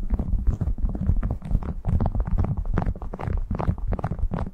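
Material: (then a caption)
Waxed cotton. A printed cotton beeswax food wrap is draped over a furry microphone windscreen while fingertips crinkle and rub the waxed cloth. The result is a steady stream of close, muffled crackles and soft thumps, heavy in low rumble with almost no bright top end, lasting throughout the clip.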